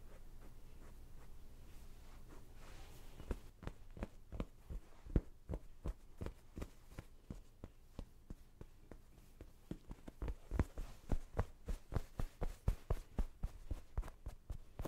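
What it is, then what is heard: Fabric throw pillow. Long dark painted nails and fingertips scratch and tap a small stuffed cushion covered in cream printed fabric with acorns and a bird. A few seconds of soft, rustling scratching give way to a quick, uneven run of dull, muffled taps. The taps are low and thumping with almost no brightness, each dying away at once.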